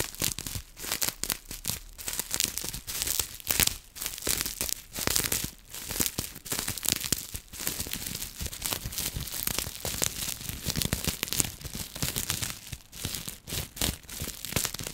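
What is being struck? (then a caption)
Plastic bubble wrap sheet. Long nails scratch and crinkle a small folded sheet of clear plastic bubble wrap. The result is a dense, continuous stream of bright, crackly rasps and crinkles, rising and falling in quick bursts with almost no ring after each scrape.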